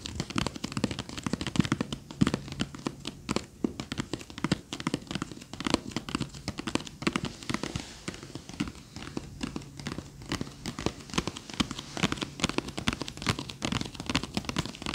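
A small hollow wooden-framed box with a teal flamingo-print lid is held in both hands and tapped quickly with long fingernails. The taps come as a dense, steady stream of short, sharp clicks that blend into a soft, rain-like patter for the whole clip.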